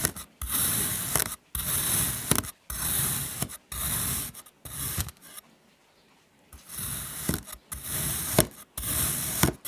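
A metal knife cuts crosshatch slices through a solid, flat, dark blue kinetic sand mango shape, pressing and scraping through the sand. Repeated grainy scraping strokes carry a bright hiss over a soft low crunch, with short silent gaps between cuts and a longer pause midway before the slicing resumes.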